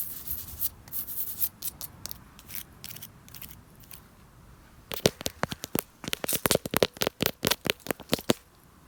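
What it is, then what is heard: Plastic fence. Fingers scratch and tap on white plastic fencing put up between a pool and the rest of a yard to keep kids out. Soft, bright scratching and brushing comes first, then a rapid run of sharp, dry taps with almost no ring.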